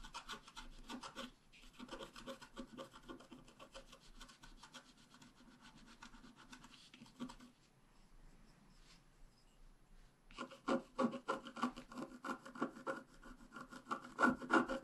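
A wooden stylus is scratched across the wax coating of a thin, flat black scratch-art card with a flower and bicycle picture, lying on a table while the other hand holds it. Quick, dry scratching strokes repeat at a brisk, fairly steady pace, going quieter and sparse for a couple of seconds midway. They then return louder and harsher toward the end.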